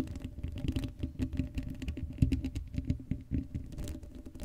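Long acrylic nails scratch the hollow black steel mesh grille of an uncovered Blue Yeti microphone. The result is a rapid, uneven patter of dry, low, rumbling scrapes and taps that die away almost at once, with little brightness.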